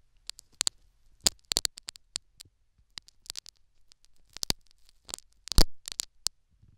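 A metal syringe needle scratches and pokes the foam plug in a silicone dummy ear in quick, repeated strokes. The result is a rapid run of short, crisp, bright scratchy clicks and rasps over a faint low rumble, with the loudest, fullest strokes near the end.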